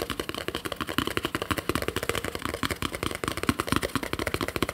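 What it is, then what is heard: Plastic jar lid. A small, round, hollow yellow plastic screw lid from a jar, held alone in the hands, is tapped and scratched with fingernails on its top and rim. It gives a rapid, uneven run of short, dry clicks and taps with bright scratchy edges and almost no ring, in a quick clattering rhythm throughout.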